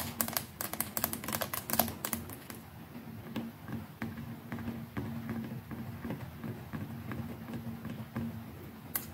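Long nails tap the plastic neck and collar of the brush head on a white plastic electric toothbrush. A rapid flurry of sharp, bright clicks in the first few seconds thins into softer, spaced-out taps over a faint steady low tone, ending with one crisp click.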